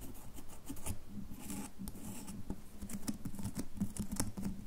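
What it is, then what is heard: Bar of soap being scratched. Long fingernails scratch a solid red bar of soap held in the hand. The result is a steady, close texture of dry scraping and quick ticking clicks, with low rumbly body and bright, sharp scratch edges.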